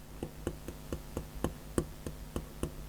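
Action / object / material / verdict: tap / stylus nib tapping a glass tablet screen / unknown / soft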